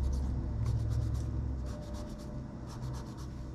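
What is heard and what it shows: A gloved hand rubs a cotton swab along the plastic keys and the edge of a plastic laptop keyboard, then near the trackpad. Soft, rapid scratchy strokes come in short bright bursts over a steady low rumble. The sound is loudest in the first half and eases slightly toward the end.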